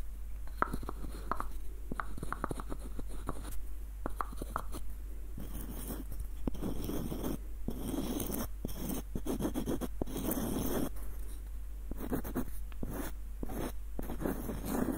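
Short nails scratch across the wooden surface and the threads of a small, hollow, light-wood screw nutcracker with a ribbed screw and a dark knob. The result is a dense run of quick, dry scratches and clicks, with brief bright streaks, over a steady low hum.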